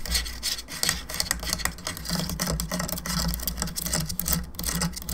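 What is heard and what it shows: Long nails tap and scratch along the sides and face of a hollow plastic skull candelabra lamp. The result is a dense, rapid stream of bright, raspy scrapes and light clicks over a steady low hum.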